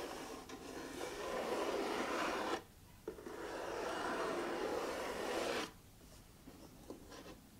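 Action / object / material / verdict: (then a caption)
scrape / printed cardboard puzzle box / cardboard / none. Fingertips and nails scratch and rub the lid of a closed, hollow printed-cardboard puzzle box, then run along its edges. Two long, steady raspy passes with a midrange, papery texture are separated by a brief pause, followed by a quiet stretch with a few faint ticks.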